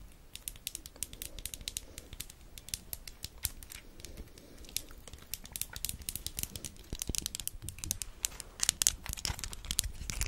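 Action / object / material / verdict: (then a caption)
tap / small plastic lighter / plastic / none. A small orange plastic disposable lighter with a metal top is tapped rapidly with long acrylic nails close to the microphone. The result is a dense stream of quiet, sharp, bright clicks that die away instantly, over a faint low rumble, growing a little louder and busier toward the end.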